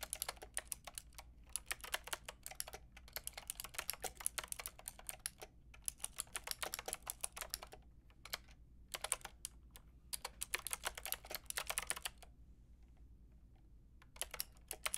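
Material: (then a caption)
Plastic. Long painted nails and fingertips tap the keys of a white-pink backlit plastic mechanical keyboard with round plastic keycaps. Rapid, bright, clicky keystrokes come in dense bursts, separated by brief pauses and a longer quiet gap near the end. A faint low hum sits steadily underneath.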